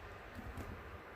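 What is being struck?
Nothing is struck.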